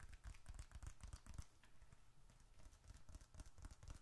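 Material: Leather.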